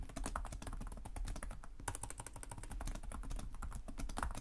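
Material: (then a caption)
Plastic. Fingertips of both hands tap rapidly on the low-profile plastic chiclet keys of a black laptop with a hollow body, producing continuous typing. The key presses come as a fast, steady stream of soft, dull clicks with a low, thuddy tone and very short decay.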